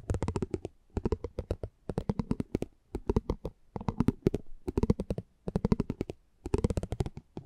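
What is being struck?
Thin cardboard card rolled over with a spiked metal wheel.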